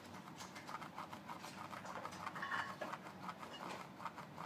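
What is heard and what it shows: Fingertips and nails tap and rub a closed, hollow Colgate toothpaste box made of thin paperboard, and fiddle with the sticker on its corner. The result is a steady stream of quiet, light, papery taps and scratchy rubbing with a hollow, mid-range tone.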